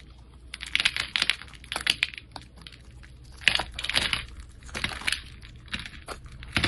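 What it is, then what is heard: Soap bar being scraped. A metal blade scores and scrapes the surface of a solid, light-green embossed Old Spice bar soap held in hand, peeling off thin soap strands. Repeated short, bright, crisp scraping strokes crackle in uneven bursts over a quiet low background.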